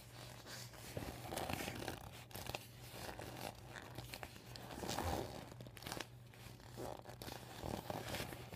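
Medium painted nails scratch and rub the thin plastic of the yellow panel on a deflated vinyl beach ball lying flat on a table. The result is a stream of dry crinkling, tearing-like scrapes in uneven bursts that swell and fade, over a steady low hum.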